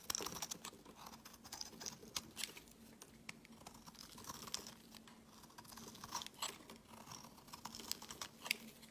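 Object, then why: Soap bar shaved with a metal blade. A metal blade shaves thin curls off the surface of a solid white rectangular bar of soap held in the hand. The quiet, crisp scraping comes as a rapid series of short, bright ticks and rasps over a faint steady low hum.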